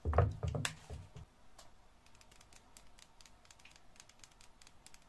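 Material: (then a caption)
Soap. Long painted nails and fingertips tap and scratch the embossed surface of a dry, solid, unwrapped yellow Bianca bar soap held in the hand. A few louder, dull, low-pitched taps come in the first second, then the sound drops to faint, irregular clicks and soft scratching with a little high, bright detail.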